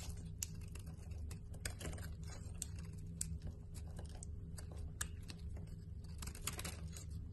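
A utility knife blade carves a solid white bar of soap, shaving off flakes and crumbs. Quiet, crisp, bright scraping clicks and crackles come in quick irregular bursts over a steady low hum.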